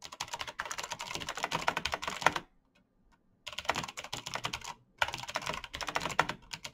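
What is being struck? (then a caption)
Plastic mechanical keyboard. Fast fingertip typing, by hands in fingerless knit gloves, on a black plastic mechanical gaming keyboard with clicky green switches, backlit keys and a hollow case. Rapid, bright, crisp clicks come in three bursts, split by a silent pause of about a second near the middle and a brief break near the end.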